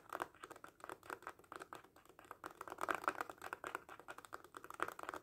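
Rapid fingertips tap on the surface of a small red faux leather cat coin purse held in both hands. The result is a quiet, fast stream of short, dry, soft taps centered in the midrange, with almost no bass or ring.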